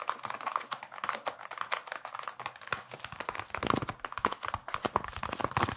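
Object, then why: Leather-covered baseball. Fingertips and nails rapidly tap and scratch the leather cover of a solid, hand-sized baseball with red stitching, held up in both hands. The result is a quiet, dense stream of short, dry clicks and scratchy rustles centred in the midrange, with almost no low end and no ring after each tap.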